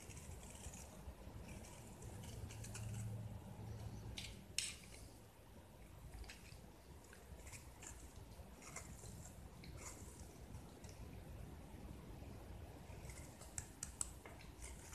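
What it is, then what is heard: Gypsum plaster block being carved. A small, palm-sized block of solid white gypsum plaster is held in one hand and carved with a metal blade held in the other, with the shaved flakes falling onto foil below. Quiet, crisp scraping strokes with bright, gritty edges repeat throughout over a soft low rumble, with one sharper scratch standing out near the middle.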